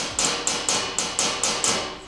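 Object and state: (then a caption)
Undamped steel door panel, tinny ring. A hammer taps seven times on the bare steel door panel of a 1949 Ford with a BMW chassis swap, before any sound deadening is applied. Each tap gives a bright, very tinny metallic ring that fades quickly, showing the undamped panel.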